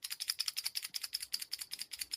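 A Fat Free crankbait made of ABS plastic is shaken so its internal rattle is heard as a fast run of about 15 bright, high-pitched clicks, nearly all energy above 2 kHz with almost no ring. The rattle is a little louder than a DD22's low, dull rattle.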